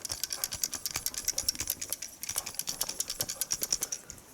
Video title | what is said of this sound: Synology DS415+ NAS: Part 4 - Testing A 10 Year Old HDD! | if i shake the drive you can hear it rattle